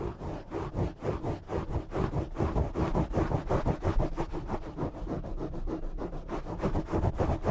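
A black foam windscreen on a desktop microphone is scratched with short nails from both sides. Rapid, continuous rubbing bursts produce a dense, muffled scratching noise weighted heavily toward the low end, with little bright content.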